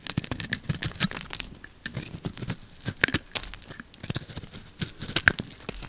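A metal blade scrapes the blue lacquered coating off a solid bar of orange soap held in the palm. The result is a rapid, irregular run of short, dry crackling and tearing scrapes with bright, crisp edges and no ring.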